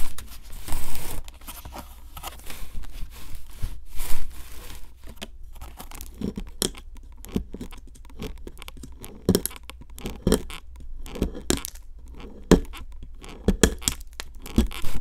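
A metal pick tool, held by a hand with long nails, scrapes and chips at a solid pink plaster dig block sitting in a plastic tray, with the block crumbling at one corner. Dry, gritty scraping and crumbly rasps are broken up by many short, sharp chipping clicks, with a low rumble running beneath and brighter scratchy bursts at the start.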